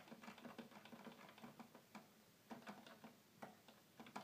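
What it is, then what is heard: Plastic toy keyboard keys tapped. Fingertips quickly tap the plastic keys of a hollow red plastic toy keyboard, making a quiet run of uneven, rapid clicks. Each click is short and hollow-sounding, with a faint low body near 200 Hz and a brief bright edge.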